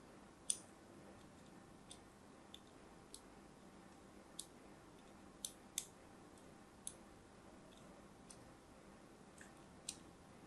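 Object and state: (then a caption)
Striped soap bar being scored. A thin blade scores lines into a solid, hand-held pink-and-white striped soap bar. About ten short, crisp, bright clicks sound at irregular intervals over a quiet, low hiss, each dying away almost instantly.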